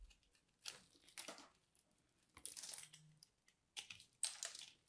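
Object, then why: Starch-coated soap ball. A small dark blade scrapes and crunches through a dry, solid, crumbly purple and white soap ball coated in starch, held in the hand. Bright, dry crunching and scraping come in several bursts, with quieter crumbly crackles in between and almost no low end.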